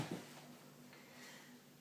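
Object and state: Nothing is struck.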